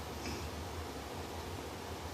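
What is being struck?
Nothing is struck.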